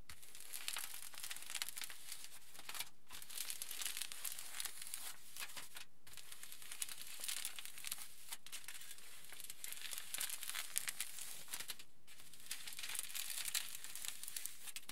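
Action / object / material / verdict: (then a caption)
scrape / aluminium foil sheet / aluminium foil / none. Fingers scratch and rub across the surface of a large, flattened aluminium foil sheet. The result is a quiet, steady stream of bright, crisp crinkling and crackling, broken by short pauses near 3, 6, 8.5 and 12 seconds.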